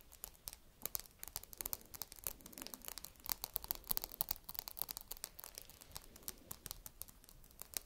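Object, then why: Whole walnut in its woody shell. A single small whole walnut with a hard woody shell is scratched and tapped with long red nails. It makes a quiet, steady stream of crisp, bright clicks and dry scratchy rustles, each tap very short with no ring.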